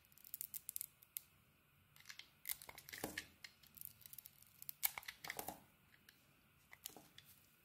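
A solid red bar of soap with a white core, held in the hand, is carved with a metal utility blade. It makes quiet, bright scraping and crisp crackling sounds in short bursts with brief pauses, much like tearing or crinkling, with almost no low end.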